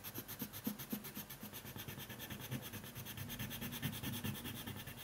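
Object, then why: Colored pencil on paper sheet. Fingertips hold a green colored pencil and quickly rub and scratch its lead across a thin white paper coloring sheet lying flat on a wooden table. The result is a quiet, steady run of rapid, dry scratchy strokes with a bright papery hiss over soft low thuds.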